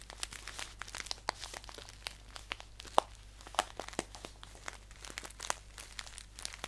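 Fingers crinkle and squeeze a green paper tea pouch held upright, producing a dense run of dry, crisp paper crackles with sharp, brief snaps that fade almost instantly. The crinkling is bright and papery over a faint, steady low hum.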